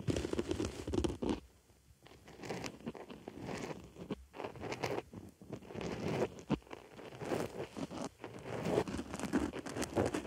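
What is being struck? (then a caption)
Foam makeup sponge scratched with a wooden stick. A white foam makeup sponge sits on a microphone ear while a wooden stick digs and scratches in the hole of the foam. The result is a dense, close run of soft crunching, crinkling and scratchy rustles, mostly low-mid, with brief quieter pauses between bursts.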